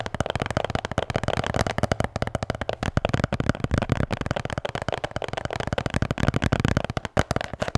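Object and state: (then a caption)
Beer can holder. A blue Bintang beer can holder is tapped and scratched in a rapid, continuous stream of short, dull taps. The sound is muffled and low-heavy, and each tap dies away almost instantly, keeping a steady pace for the whole clip.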